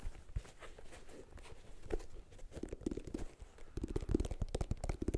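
Fingertips and nails scratch and tap the white rubber outsole of a sneaker, with its circular tread and ridged sidewall held close to the microphone. Soft, dull scraping and muffled thuds sit mostly in the low range, with no ring, and the taps grow denser and more distinct toward the end.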